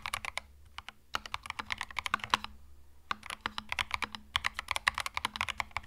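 Fast fingertip typing on a compact cream mechanical keyboard with plastic keycaps produces 37 sharp, bright clacks that stop almost instantly. The keystrokes come in quick bursts, with short pauses near the first and third seconds, over a faint low hum.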